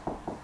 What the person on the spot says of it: it goes up, and you know that's where the stud is